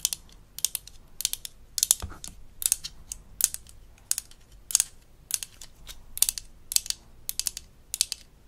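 A small hollow blue-and-white plastic toy dental instrument from a Melissa and Doug Super Smile Dentist Kit is held in the hand while long acrylic nails tap and scratch along its body. The result is a steady series of quick, dry, bright clicks and scrapes with almost no low end and no ring.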